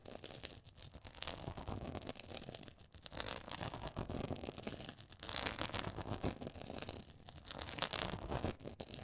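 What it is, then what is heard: Textured faux leather board. Long acrylic nails scratch across a black quilted faux leather board with a raised pyramid texture. The result is a dense, continuous run of rough, crinkly scratching that swells and eases in waves. It has bright, hissy detail over a soft low rumble.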